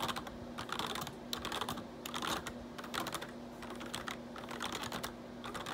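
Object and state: Plastic computer keyboard being typed on.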